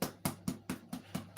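Seven taps on a baked tomato focaccia with rosemary, each a short, dull, low thump around 145 Hz that dies away almost at once. The focaccia sounds hollow inside, showing it is baked through.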